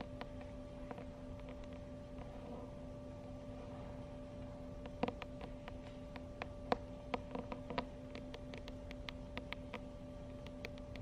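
Long acrylic nails tap the glossy laminated front cover of a medium paperback book, "Sexual Health Information for Teens", held in the hands. Sparse, quiet, dry clicks sit over a low steady hum with faint tonal lines. The taps grow more frequent in the second half.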